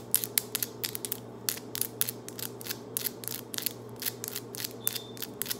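Very long, solid acrylic nails on both hands are tapped and clicked against each other in fast nail-on-nail tapping. The result is a rapid run of sharp, bright clicks with almost no ring, over a low steady hum.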